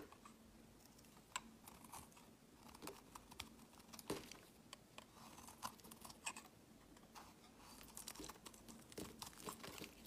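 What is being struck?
Glycerin soap bar scraped with a blade.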